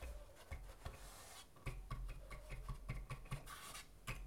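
Fingertips of both hands rub and scratch the braced interior of a wooden acoustic guitar cut in half, with its thin wooden plate, braces and open hollow shell exposed. Soft, dry scratching with a bright rasp is punctuated by quick, low hollow thumps that die away almost at once.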